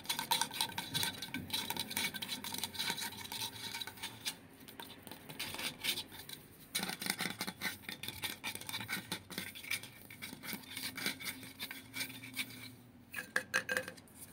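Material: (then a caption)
Stainless steel. Fingertips tap and scratch the curved body of a light-blue insulated stainless steel water bottle with a label, held up close. The result is a steady run of quick, bright metallic taps and dry scratching, mostly high in tone, with very little low end. Each tap dies away almost at once, with only a brief ring.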